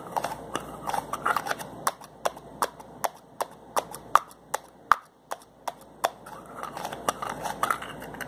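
A slim white plastic bottle has its cap twisted by hand, producing a run of sharp, dry plastic clicks at a fairly steady pace. Quick scratchy grinding comes between the clicks, especially at the start and end. Each click is short and bright with almost no ring and little low end.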